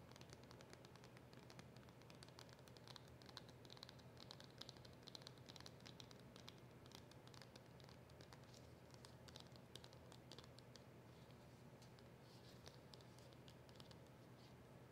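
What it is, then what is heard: Cardboard box tapped and scratched with nails. A small black cardboard box with a silver seal is held in both hands and tapped and scratched with long nails. The result is a quiet, steady stream of soft, rapid taps and crisp scratching over a low, constant hum.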